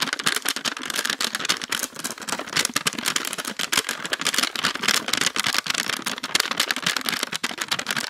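A small clear plastic tub with a lid, filled with purple slime and held in both hands, is rapidly tapped and scratched with long acrylic nails. The result is a fast, steady stream of sharp, dry clicks and scratchy rasps, bright and crisp with almost no low end and no ringing after each tap.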